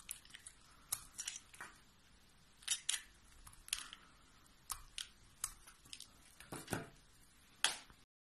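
A metal blade cuts and scrapes thin curls and chunks from a solid, palm-sized oval bar of teal soap held in the hand, and the flakes pile up below. The result is a run of crisp, bright, dry scraping and crunching strokes with quiet pauses between them.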